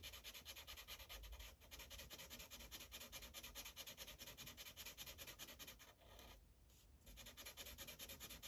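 A yellow felt-tip Sharpie marker rubs over a thin printed paper coloring page resting on a hard clipboard in rapid, repeated back-and-forth coloring strokes. The steady, bright, scratchy rubbing continues with a soft low thump, then briefly quiets for about a second before the strokes resume.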